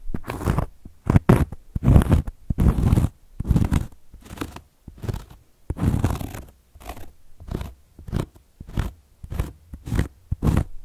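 Long gold metal claw nails scratch across a round, flat, solid cork coaster in a series of irregular, rasping strokes. Each burst is a dry, crunchy scrape with a dull, low-heavy body and short, quick-fading edges, separated by brief pauses.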